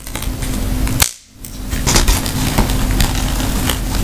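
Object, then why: Woven rattan handbag. A round, hollow woven rattan handbag with leather straps and a snap tab is held in the hands while long manicured nails tap and scratch across the woven weave, making dry, crackly ticks and scrapes. A sharp click stands out, followed by a brief drop to near silence, before the dense scratching and tapping resumes as the bag is opened.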